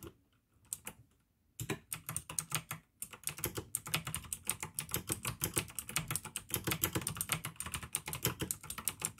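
Fingertips type fast on the keycaps of a full-size pink plastic AUKEY mechanical gaming keyboard with RGB backlight, clicky blue switches and a hollow case. A few scattered keystrokes open the clip, then a brief pause gives way to a steady rapid stream of sharp, bright clicks, each with a low hollow thock underneath.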